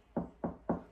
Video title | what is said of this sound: Hanging with friends someone built a treehouse in the woods | It sounds different. This is hollow. Yeah, it's hollow.